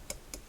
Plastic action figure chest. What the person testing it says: I'm tapping it just to show how hollow it is. It is a pretty light figure, so you can hear how light he is